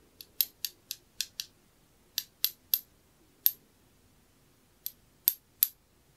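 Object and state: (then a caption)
Glazed ceramic knob. A small, round, dark blue glossy glazed knob or button, ceramic or possibly glass, is held up and tapped with a thin metal pin. Thirteen sharp, bright, high-pitched ticks come in uneven bursts, each dying away almost instantly with no low body to the sound.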